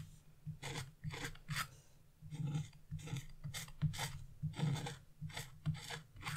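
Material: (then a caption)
Waxed paper. A wooden-handled gouge or chisel is held upright and scraped across wax-coated scratch-art paper, with black flakes scattered around. Short, dry rasping strokes repeat in uneven bursts, each a bright scratchy hiss over a low, steady hum.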